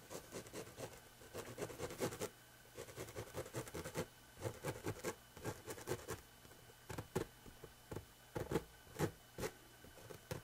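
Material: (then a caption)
Fabric. Fingertips and nails scratch along the surface of a coarse, rough woven fabric in a close view. The result is quiet, dry, rasping scratches that come in quick bursts and clusters, with short gaps between them. A faint steady hum sits underneath.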